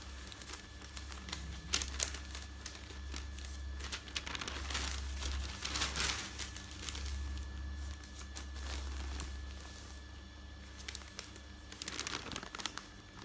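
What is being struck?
Newsprint newspaper sheets.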